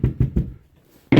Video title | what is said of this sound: Nos Accessoires: Quatree, FastBolt, Gear Hanger, adhésif anti-dérapant, organisateur d'équipement | il y a pas de bruit de métal une fois qu'il y en a une qui est couverte